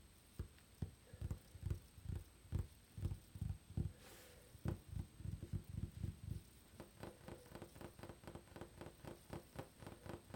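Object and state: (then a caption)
Wooden tabletop. Fingertips and nails tap rapidly on a flat, solid dark wooden tabletop with visible grain, making dull, low, knocking thuds that stop dead with no ring. Heavier taps come in an uneven rhythm at first, with a brief soft hiss near the middle. The clip ends in a quicker, lighter run of taps.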